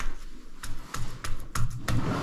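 While climbing inside a cave, a climber taps a rock hold six times to test it before trusting it. Each tap is a short, dull, low knock that dies away almost instantly. The hold sounds solid.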